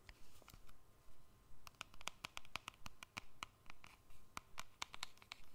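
A small, hollow black-and-silver keypad cell phone with a plastic and metal casing is held in both hands above the microphone and tapped and scratched with long fingernails. Quiet, sharp clicks and brief scratches come in uneven clusters, each hit dying away almost instantly, over a faint steady hum.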